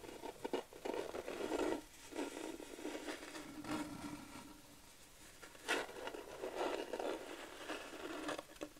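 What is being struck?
Flat wooden plaque.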